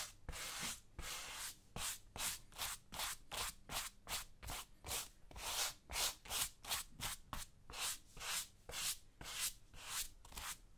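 A small brush held in the fingers rubs and scrubs the tan suede upper of a right tactical boot worn on a foot, with the left boot sitting untouched beside it. About 21 separate, bright, airy scratching strokes come in a steady back-and-forth rhythm, each a short hissing swish with a soft low thump underneath.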